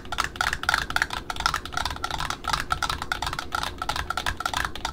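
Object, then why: Cardboard ribbon spool. Long pointed nails tap rapidly on the top cardboard flange of a small cardboard spool wound with dark brown satin ribbon, held in the hands. The taps are quick, dry, hollow clicks with a bright upper-mid tone and almost no ring. They run in a steady, busy stream over a faint low background hum.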